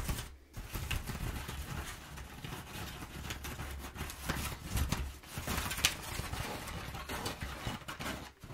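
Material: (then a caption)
Paper. Nails scratch and rub crumpled, perforated brown kraft paper packing padding, giving a continuous crinkly, rustling texture with bright crackles and a low rumble underneath. The sound is steady, with brief louder scrapes and short dips.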